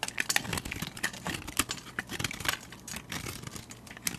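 A metal utility blade shaves curls off a solid translucent cream soap bar held in the hand. The blade gives a dense run of crisp, bright scraping and crackling ticks with almost no ring, over a faint low rumble.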